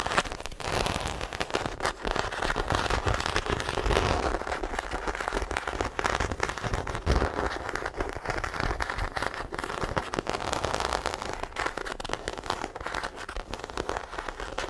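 Long acrylic nails of both hands scratch the textured body of a small black croc-embossed faux leather shoulder bag held in front of the mic. The result is a dense, continuous stream of fast crackling scrapes with low rumbling thumps underneath, rising and falling in intensity without clear gaps between strokes.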